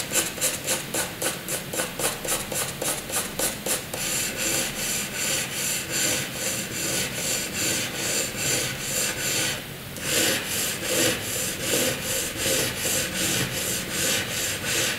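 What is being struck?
Graphite pencil on a sheet of drawing paper.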